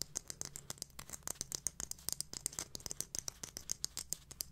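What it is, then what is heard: Glitter-covered jar tapped and scratched with nails. A small, round, silver glitter-covered jar with a lid, of hard plastic or metal, is held in both hands and tapped and scratched with long manicured nails. The result is a quick, irregular run of about 32 sharp, bright clicking taps with scratchy rustling between them, each tap dying away almost instantly.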